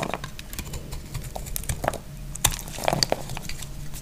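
A utility blade slices and scrapes crumbly pieces off a solid, hand-sized dry yellow soap bar. Irregular, crisp cutting and scraping sounds come in quick bursts, with short bright crackles over soft low thuds as the pieces break away.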